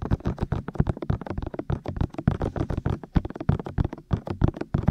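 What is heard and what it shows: Both hands tap with fingertips and short nails on the white, hollow, ear-shaped silicone ears of a black 3Dio binaural microphone mounted on a tripod. About 29 quick, dull thumps follow one another in an uneven rhythm. Each is low and muffled, with a faint bright tick and almost no ring.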